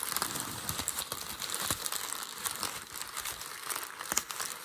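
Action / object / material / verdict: scrape / sheet of packing paper / paper / none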